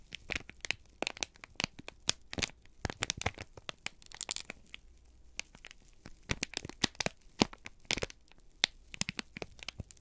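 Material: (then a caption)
Paper. A folded, crinkled brown kraft paper sheet is held in both hands and squeezed and crumpled with the fingertips. Dense, bright crackling and crinkling comes in quick, sharp bursts over a quiet background, with brief pauses between the clusters.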